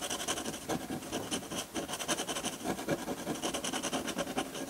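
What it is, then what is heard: Drawing paper under a metal pen nib. A hand scratches ink lines onto a large, flat sheet of textured white drawing paper on a table with a metal dip pen nib. The result is a close, continuous dry scratching with a bright, hissy edge, broken into quick overlapping strokes that rise and fall in steady bursts.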